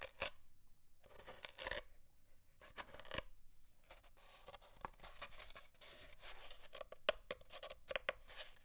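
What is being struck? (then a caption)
Cardboard paper towel tube. Short fingernails scratch along the end of an empty, hollow brown cardboard paper towel tube held on a desk, peeling off small leftover paper towel scraps. Quiet, dry scratching and papery tearing rasps come in uneven bursts, with bright, crisp edges and a faint hollow midrange tone from the tube.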